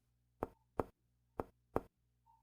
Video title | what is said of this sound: ADMISIÓN DEL PACIENTE 2 | El ruido típicamente va a ser timpánico donde haya interfaz aire-líquido. A diferencia de otros ruidos, es largo y agudo.